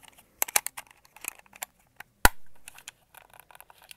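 A white and red hollow plastic Xbox controller is turned in the hands while fingertips and nails tap and scratch its shell and grips. Quiet, crisp clicks and scratchy rustles come in scattered bursts. One sharper tap near the middle leaves a short fading tail.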